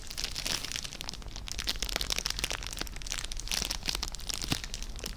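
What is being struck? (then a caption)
Cellophane-wrapped gift bag. A small clear cellophane bag tied with a red ribbon and holding treats is held up and crinkled with the fingertips. A steady, bright crackling and crinkling runs throughout, made of many quick, sharp snaps over a low, soft background.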